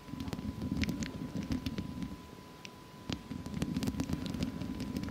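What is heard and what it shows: Long fake nails scratch and tap the hollow metal mesh head of a studio microphone with both hands. The result is a dense, low, rustling scrape dotted with sharp, bright clicks, plus a faint steady tone near 1 kHz. The scratching eases into a quieter stretch around the middle before picking back up.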